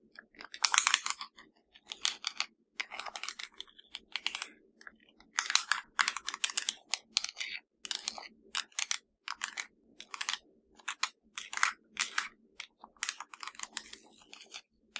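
Long nails tap and scratch across the buttons of a hollow black plastic LG TV remote control. The result is rapid clusters of crisp, bright plastic clicks and scratchy ticks with almost no low end, each dying away instantly, separated by brief pauses.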